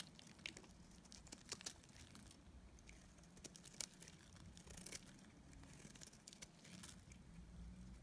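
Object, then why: Bar of soap cut with a metal blade. A palm-sized solid bar of dried soap, teal outside with a cream core, is held in one hand and shaved with a metal utility-knife blade. Quiet, dry scraping and crumbly cutting sounds repeat throughout, with brief bright crackles standing out over a low, steady background rumble.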